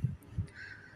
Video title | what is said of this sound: নতুন মুরগির ডিম পারছে🥰#shampa2001 #murgirkhamar #খামার #murgir #দেশি_মুরগি_পালন_পদ্ধতি | সেগুলোকে টোকা দিলে একটু ড্যাব ড্যাব করে